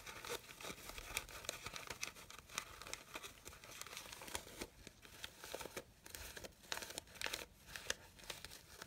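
Fingers and nails rustle and crinkle the petals of a red satin fabric rose, producing a steady, quiet stream of bright, crisp crinkles and scratchy rustles. Short, sharp ticks stand out from the soft hiss, with almost no low end.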